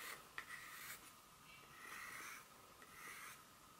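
Long pointed acrylic nails scratch and tap the smooth back side of a solid, flat dark chocolate bar held in the palm. Quiet, bright scratching and rubbing rises and falls throughout, with a faint whistly tone near 1.8 kHz. One sharp tap clicks early on and dies away almost at once.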